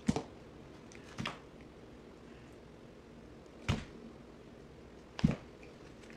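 A box cutter blade shaves and cuts flakes off a solid yellow bar of soap held in the hand. Each stroke is a short, dry, crisp scrape with a low thud, separated by quiet pauses.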